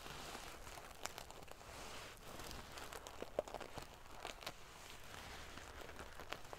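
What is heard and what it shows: Long painted fingernails scratch and ruffle a large decorative pillow covered in rows of small silver metal sequins sewn onto fabric. The result is a steady, quiet, crinkly rustle with a prickly, bright edge, broken by scattered sharp metallic clicks and crackles as the sequins flip and scrape against each other.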